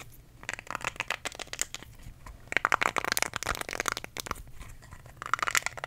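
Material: Silicone.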